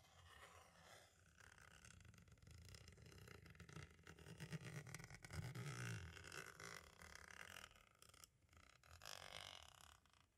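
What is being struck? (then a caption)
Plastic audio cassette shell. A green-and-black striped tool scratches and traces across the label of a hollow plastic compact audio cassette shell, moving toward its window. A continuous, rough scraping texture with a dull low rumble underneath rises and falls over the clip, with brighter, hissier strokes near the end.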